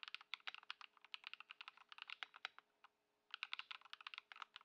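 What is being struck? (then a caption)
Plastic mechanical keyboard. Both hands type continuously on a white Ducky One 2 SF mechanical keyboard with plastic keycaps, modded with Lumia Matcha switches and Poron foam, sitting on a dark mat on a wooden desk. Fast, crisp, bright keystrokes patter in quick bursts, with a short pause near the three-second mark before the typing resumes. Each keypress ends almost instantly with no ring.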